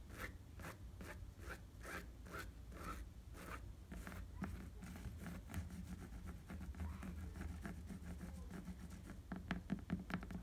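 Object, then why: Rubber bicycle tire. Fingertips quickly scratch a tan rubber bicycle tire with a ridged tread, making a quiet, steady stream of dry, raspy scrapes over a low hum. Near the end, the scratches grow louder and sharper.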